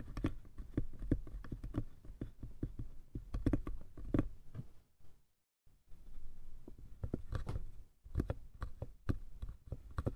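Fingertips and nails tap and scratch the sides and lid of a small hollow wooden box, making a quick run of soft, low, hollow knocks with faint scratchy texture between them. The tapping stops briefly for a moment of silence about halfway through, then resumes in uneven clusters until the end.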